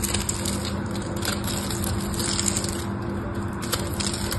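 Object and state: Bar soap cut into cubes.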